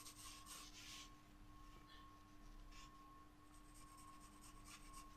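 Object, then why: Graphite pencil on a paper sketchbook page. A wooden graphite pencil makes short scratching strokes across a flat paper sketchbook page. Soft, bright rasping bursts come and go over a quiet, steady low rumble, with faint constant tones running underneath the whole time.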